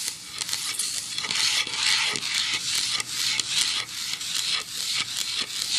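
Long nails tap and scratch the bare back side of a solid pine plank sign lying flat. A steady, bright, hissy scraping runs throughout, with soft, quick taps mixed in and almost no low end.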